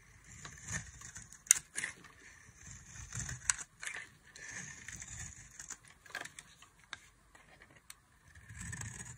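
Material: Soap.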